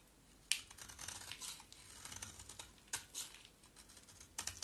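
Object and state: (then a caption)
Bar of soap being shaved. A solid oval white bar of soap, held in the hand, is shaved with a utility knife blade. Quiet, bright scraping and crisp shaving sounds come in short bursts, with sharper cuts standing out at intervals.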